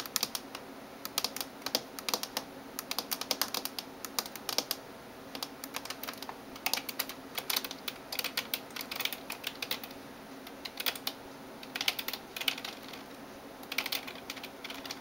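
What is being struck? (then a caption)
Plastic computer keyboard. Fingertips and nails type on the keys of a backlit plastic gaming keyboard, producing a steady stream of bright, sharp clicks and taps in irregular bursts. Each keystroke is short and crisp with almost no ring and very little low end, over a faint steady hum.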